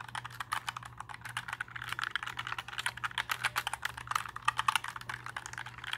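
Fingertips press and tap the plastic keycaps of a compact black 60% mechanical keyboard held up in the air, producing a rapid, uneven stream of short, crisp clacks with bright edges centered around 1 kHz. Each keystroke dies away almost instantly, over a faint steady low hum.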